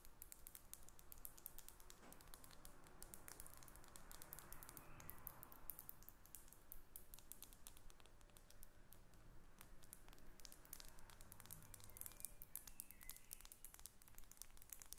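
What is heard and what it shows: A small faceted glass perfume bottle with a metal cap, held above papers on a table, is tapped and scratched with long red nails. Quiet, rapid, sharp clicks and bright ticks run over a soft scratchy rustle throughout, each tap dying away almost instantly.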